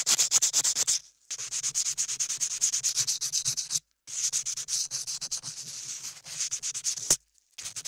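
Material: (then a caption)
Modeling clay. A latex-gloved hand rubs a small sanding block or sandpaper over an ear-sized piece of solid beige modeling clay sculpted onto the ear of a 3Dio binaural microphone. Rapid, uneven back-and-forth strokes make a bright, hissy scratching that sits mostly in the high range with almost no low end. The rubbing breaks off for three short silent pauses, then resumes.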